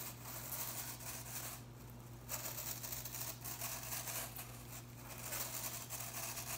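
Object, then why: Plastic broom bristles. Fingers and nails flick and rub the blue plastic bristles of a broom head held tilted, making a steady, bright, crackly scratching with brief quieter dips. A faint, constant low hum runs underneath throughout.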